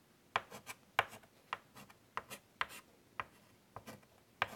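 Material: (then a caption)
Chalk. White chalk held in the fingertips scratches detailed curly lines across a large wood-framed chalkboard. Short, dry scraping strokes come one after another, each starting with a sharp, bright tick near 1 kHz and trailing off in a brief hiss with almost no ring.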